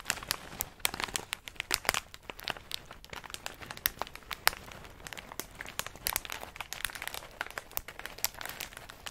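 A medium plastic snack bag full of in-shell pistachios is held close and squeezed and crinkled by fingers. The result is a steady stream of dense, bright crackling with many short sharp crinkles and little low end.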